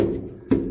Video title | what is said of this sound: La ligne Maginot. Ouvrage de Denting A 28 2023 | Des tonnes de caillasse à mon avis. Je crois qu'ils ont mis de la terre, ça fait un peu. Ouais, c'est plein.